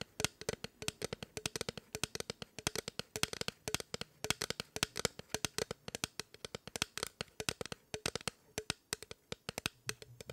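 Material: Aluminum.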